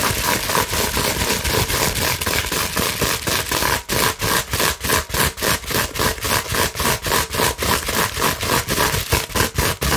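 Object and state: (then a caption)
Plastic bubble wrap sheet. Long nails rapidly scratch across the bubbles of a large, clear plastic bubble wrap sheet held upright. The result is a dense, bright, noisy scraping that pulses in quick, fairly even strokes of about four per second. Each stroke is separated more clearly in the second half.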